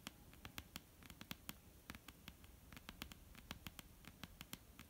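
Long almond-shaped painted nails tap quickly and irregularly on a flat, solid, dark-brown wooden tabletop. Each tap is a short, dry, bright click that dies away almost at once over a faint low background hum. The result is a soft, crisp patter of separate taps at a quiet level.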